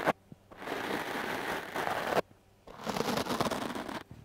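The stiff bristles of a wooden clothes brush scrub fast, scratchy strokes across a foam microphone windscreen. After a brief opening rustle come two long, dense passes of bright, hissing friction, separated by a short pause.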